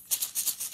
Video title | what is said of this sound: Four Noisy Things | makes a different kind of sound but it does make a sound